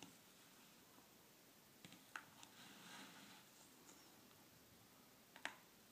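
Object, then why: Gel water beads in a plastic bowl. Fingertips with long painted nails stir and press many clear gel water beads in a red plastic bowl. Soft, wet squishing sits under a quiet hiss, broken by a few sharp, bright clicks and a brief swishing rustle. The last click near the end is the loudest.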